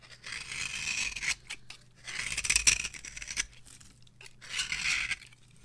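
A small metal blade scrapes and carves the surface of a solid, palm-sized, orange rectangular bar of varnished dry soap with an embossed logo. Bright, dry, scratchy strokes rise and fade in three longer passes with short quiet gaps between them. Almost no low end sits under the crisp scraping.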